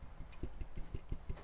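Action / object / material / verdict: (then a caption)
tap / brass instrument brace / brass / tight. A brass band instrument, its broken brace tied in place with a bread-bag twist tie, is tapped six times, giving short, dull low thuds that die away almost instantly. There is no metal-on-metal rubbing or ringing zing, only a low vibration, so the brace is secured and does not rattle.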